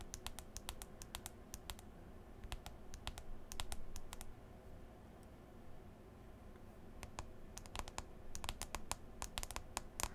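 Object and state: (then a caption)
Smartphone glass touchscreen tapped with nails. Long green acrylic nails tap repeatedly on the glass touchscreen of a smartphone in a white folio case. The quick, sharp, bright clicks come in bursts, pause in the middle, then resume densely toward the end. A steady low rumble sits underneath throughout.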